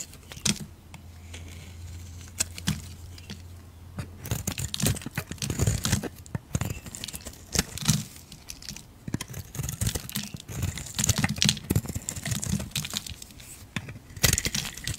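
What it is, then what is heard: Soap bar being carved. A metal utility blade carves chunks off a solid rectangular purple soap bar held in a hand with turquoise nails, making crisp, crumbly scraping and cracking sounds in irregular bursts. A low steady hum runs underneath for the first few seconds, then the cutting grows denser, with sharp bright snaps as pieces break away.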